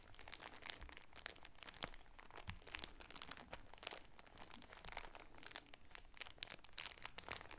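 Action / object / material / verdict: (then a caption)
scrape / shower curtain in plastic packaging / plastic film / none. A plastic-wrapped striped shower curtain package is held in both hands and crinkled and rubbed with the fingertips. The result is a steady stream of soft, bright plastic crinkles and crunches, with sharp, dry crackles that die away instantly.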